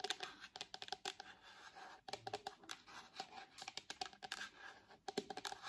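Long nails tap and scratch on a purple hard plastic shell fitted to the back of an iPad. Quick, bright, dry clicks come in rapid clusters, with softer scratchy rustling between them and almost no low end. The sound is quiet and close, and each tap dies away at once, with brief lulls near the second and fifth seconds.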